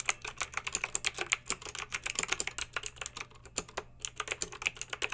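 Long pink acrylic nails type quickly on a plastic mechanical keyboard with backlit round plastic keycaps. About 32 sharp, bright clicks and clacks come in an uneven, continuous patter, each dying away almost instantly. A faint, steady low hum sits beneath the typing.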